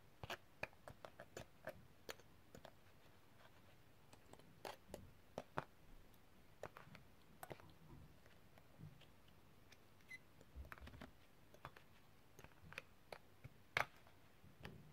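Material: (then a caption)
Metal. A set of thin, solid, colorful coated metal extractor tools lies in an open black zip pouch and is tapped and clicked with the tip of a metal tool. Quiet, sharp, bright clicks and taps come in irregular bursts, each dying away almost instantly over a low background hum.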